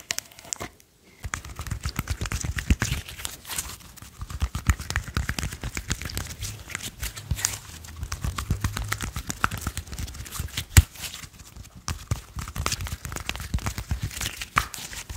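Fingertips tap, press and squish a small handful of soft, solid purple slime held in the hands, making a quick, steady stream of soft, low thumps mixed with sticky, bright crackling clicks. The tapping runs for about fifteen seconds, with a brief pause near the start and a quieter stretch around the twelve-second mark.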